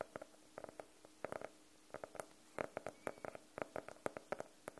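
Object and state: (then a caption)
Faux-leather hardcover notebook being tapped. Fingernails tap and lightly scratch across the cover of a closed, solid navy faux-leather hardcover notebook. The sound is a quiet run of short, dry, hollow clicks centered in the midrange around 580 Hz, coming in uneven clusters with brief bright edges and faint scratchy texture between them.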